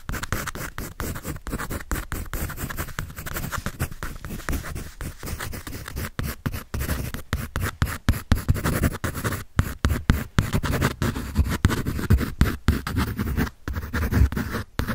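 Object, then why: Pencil on paper sketch pad. A pencil scratches and shades across white drawing paper on a sketch pad held at an angle. The sound is a steady run of rapid, dry rasping strokes with brief gaps, weighted toward a low, rough rustle with little brightness on top.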